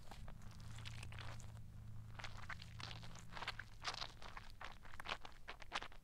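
A fist-sized green squishy rubber stress ball with black spots, soft with a filled interior, is held in one hand and squeezed and scratched with long black nails. Soft crunchy, rustling scratches come in quick bursts over a steady low hum.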